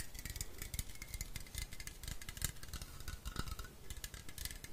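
A hand-sized, hollow blue and white metal aerosol spray can with a white plastic cap is held in both hands and tapped and scratched with fingertips along its side and base. Rapid, dense taps give soft low thuds layered with bright, dry scratching. Each hit dies away almost instantly.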